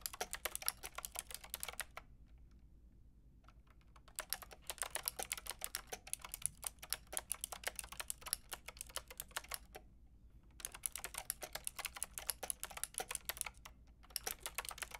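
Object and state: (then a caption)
Plastic mechanical keyboard. Fingertips with long red nails rapidly tap the round pink and grey plastic keycaps of a Lofree mechanical keyboard with a white plastic case. Bright, sharp clacks come in quick bursts, separated by brief pauses near 2 to 4 seconds, around 10 seconds, and just before 14 seconds.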